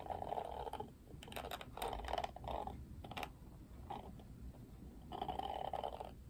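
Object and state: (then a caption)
Plastic hairbrush bristles strummed. Fingertips strum the pink-tipped plastic bristles of an oval plastic paddle detangling hairbrush with a black cushion. The result is quiet bursts of soft, rapid ticking and rustling with a hollow, mid-pitched tone, separated by brief pauses.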